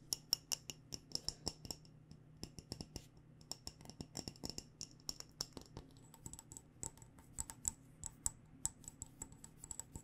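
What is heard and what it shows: Fingernails tap quickly on the glass sides of a mason jar full of loose tea, topped with a fabric-wrapped metal lid. A rapid, uneven stream of crisp, bright clicks, each carrying a faint high glassy ping that dies away almost instantly, plays over a quiet low hum.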